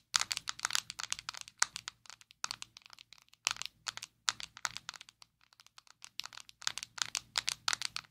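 Long acrylic nails tap and scratch a small square black plastic Maybelline Fit Me loose powder jar, hollow and filled with powder, held in both hands. Rapid bursts of dry, bright clicks and scratchy ticks come in quick clusters separated by short pauses, each click dying away almost instantly with no ring.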